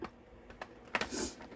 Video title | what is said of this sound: WIP of Apple Landscape | But I have a wooden table, so I can knock on real wood.